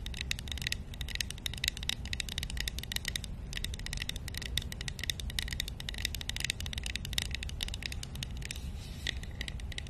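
A small, hollow, painted wooden matryoshka nesting doll is held close to the mic and tapped and scratched with long nails. Dense, rapid, bright clicks and scrapes ring around 3.7 kHz over a steady low rumble, each tap dying away almost instantly.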